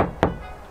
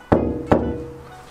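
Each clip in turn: First: deadened steel van roof panel, dull and damped. Second: untreated steel van roof panel, resonant.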